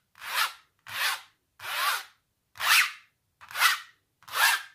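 Long natural nails scratch across a large textured painted canvas, dragging over thick impasto paint. Six separate raspy, bright scraping strokes swell and fade with short pauses between them.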